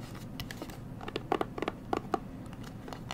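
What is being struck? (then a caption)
Leatherette-covered hard sunglasses case. Long fingernails tap and scratch on the lid face of a closed, hand-sized black Versace hard sunglasses case with a hollow, rigid leatherette-covered shell. The result is an irregular run of short, dry, clicky taps with a hollow mid-range knock, woven with faint scratchy rustling. Each tap dies away almost instantly.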